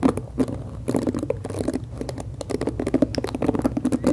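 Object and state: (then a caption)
Plastic hairbrush scratched and tapped. Long acrylic nails scratch the black plastic bristles and tap the plastic body of a hand-sized pink plastic detangling brush held close to the mic. The result is a dense run of quick, dry, muffled clicks and scratchy patter, centered low-mid with little bright edge, each tap dying away almost instantly.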